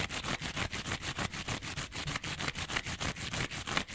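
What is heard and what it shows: A small rectangular yellow-green kitchen scrub sponge, with a yellow foam layer and a green abrasive scouring pad, is held upright and scratched along its edge with fingernails. About twenty-two quick, bright, raspy strokes repeat at roughly three per second. The result is a steady, fairly even scraping texture.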